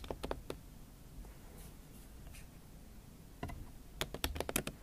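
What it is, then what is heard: Laptop keyboard with silicone cover. A MacBook Pro keyboard covered with a pink silicone skin is typed on with fingertips and long acrylic nails. Quick, dry clicky taps come in short bursts, with a cluster near the start, a scattered few in the middle and a fast run at the end. Each tap is brief and crisp with a faint low rumble underneath.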